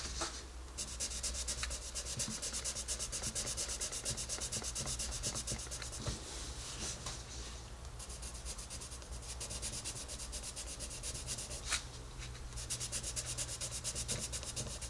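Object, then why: Colored pencil on a paper coloring book page. A dark colored pencil shades a rabbit's face on the paper page of an open coloring book, scratching in fast back-and-forth strokes. The steady, bright rasping runs nearly continuously over a low hum, with brief pauses between bursts of strokes.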